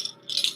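A rope-wrapped ceramic heart from a mystery box is shaken, and the loose hard objects inside, later found to be what appear to be human teeth, rattle against it. Two bright, high clicking bursts are heard: a brief one, then a louder, longer one, with no low end and almost no ring.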